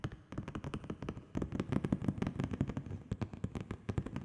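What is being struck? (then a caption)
Plastic padded mailer bag. Long fingernails tap quickly across a large, flat holographic plastic padded bubble mailer that is held up in the air. A fast, uneven stream of short, crisp clicks fills the clip, each hit dull and low-bodied with a brief bright tick on top and almost no ring between taps.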